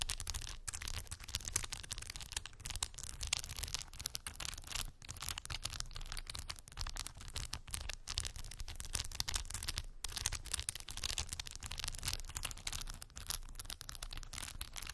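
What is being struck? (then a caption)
Plastic beads glued on a cork board. Long white acrylic nails tap and scratch across rows of solid, glued-on plastic faux pearl beads on a small cork board. The result is a dense, continuous stream of quick, bright clicks and scratchy rasps over a steady low rumble, holding an even level throughout with only brief pauses.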